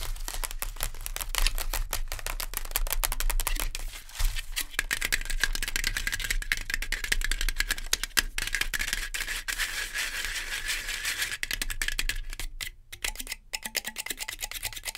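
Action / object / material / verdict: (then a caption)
tap / cardboard and plastic noodle pot / cardboard / none. Long nails rapidly tap and scratch the sides and foil lid of a full, sealed Maggi instant noodle cup, a printed cardboard/plastic pot, first lying on its side and then standing upright on a fur rug. The result is a dense, fast stream of short, dry clicks and scrapes with a bright, papery hiss centred around 1.7 kHz over a low rumble. It eases briefly near the end before the tapping picks up again.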